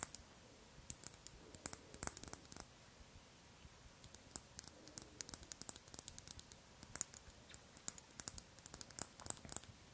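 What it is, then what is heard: Amber glass dropper bottle. Long acrylic nails tap quickly on a small amber-brown glass skin oil dropper bottle with a white plastic dropper cap, likely full and held in both hands. Many quiet, sharp clicks come in uneven bursts, each with a bright, high glassy tick that dies away at once.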